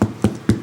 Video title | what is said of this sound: 2022 Thanksgiving Ideas - Gordon Ramsay - Part Two | a little bang on there what does that sound like um drums